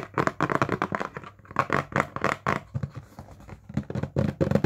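A small, hollow printed cardboard retail box held in the hands is tapped with fingertips and nails. Quick bursts of dull, hollow taps with short decays come in clusters separated by brief pauses, with softer scratchy touches between them.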